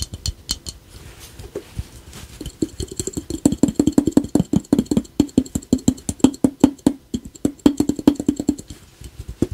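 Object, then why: Small hollow ceramic piggy bank. A small, hollow, glazed ladybug piggy bank, apparently ceramic, with a yellow face and a red shell, is held in both hands and tapped with the fingertips and short nails on its face and shell. The taps start sparse, then speed up into a quick, steady run of short, dry clicks with a hollow, mid-pitched knock that dies away almost instantly.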